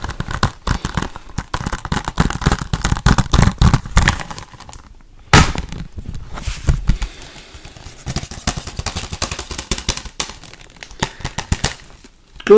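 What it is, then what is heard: Plastic Blu-ray case. Fingertips and nails tap and click rapidly on the cover and edges of a hollow, thin-walled blue plastic Blu-ray case held in the hand close to the microphone. The dense, fast taps carry a heavy low thump with sharp plastic clicks on top, each dying away almost instantly. They ease into a brief lull before a loud burst restarts the rattling tapping.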